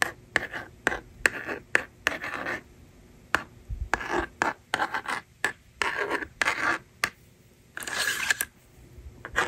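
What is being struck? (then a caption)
Plastic magnetic drawing board with stylus. A plastic stylus scratches numbers onto the honeycomb screen of a small hand-held blue and pink plastic magnetic drawing toy with a hollow case, while long painted nails slide its eraser tab. Short, dry, bright scratching strokes alternate with longer scraping sweeps, separated by brief quiet gaps. The sound is crisp and close, with almost no low end and no lingering ring.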